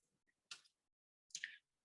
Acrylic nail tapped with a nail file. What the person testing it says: tapping your file it sounds hollow it's ready to be filed